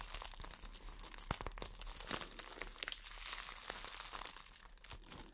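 An empty clear plastic wrap bag is crumpled and rubbed between the fingers while long nails crinkle it. The result is a steady stream of bright, dry crackles and crinkles with sharp snapping transients, over a faint low hum.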